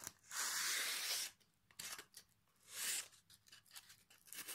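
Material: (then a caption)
Pine wood. A piece of sandpaper held in the fingers sands the face of a solid pine plank with a dark knot, held at an angle. Two long, bright, hissing rasps stand out, with shorter, quieter scratching strokes between and after them. The sound is dry and high with almost no low end.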